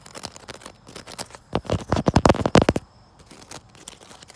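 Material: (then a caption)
Wicker. Fingers scratch a wicker chair outdoors, producing soft, dry crackling and scraping. The sound builds into louder, sharp tapping on the wicker in the middle of the clip, with quick clicks that die away almost instantly, before it eases back into quiet scratching.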